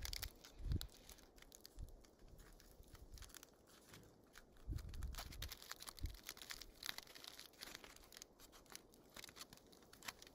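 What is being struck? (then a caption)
Small ball of aluminium foil squeezed by hand. A small crumpled aluminium foil wad, held between fingertips and thumbs, is squeezed and crinkled by hand. It gives a steady stream of dense, bright crackles and crinkles, with a few heavier, duller crunches near the start and middle.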